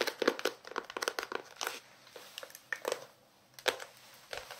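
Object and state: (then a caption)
Paperback book. A small paperback novel has its card cover and page edges scratched and tapped with fingertips and nails. Many quick, dry taps and crinkly scratches come in uneven bursts, with bright papery clicks, a hollow mid tone, and almost no ring after each hit.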